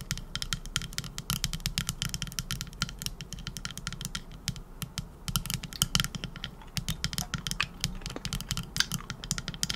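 A hand-sized, solid teal epoxy resin trinket dish shaped like a scallop shell is tapped and scratched with long acrylic nails. Rapid, sharp, bright clicks come in dense bursts and die away almost instantly, mixed with light scratching over a steady low hum.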